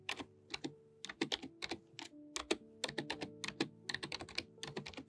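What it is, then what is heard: Plastic membrane computer keyboard. A full-size pink-and-white plastic membrane computer keyboard with low, flat keys is typed on with long painted nails. The result is a quick run of light, bright plastic clicks and taps with very short decay, while steady low tones hum faintly underneath.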